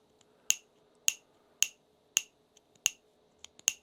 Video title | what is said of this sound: Fiberon by Polymaker Launch - EDGE OF 3D | no ring sounds like plastic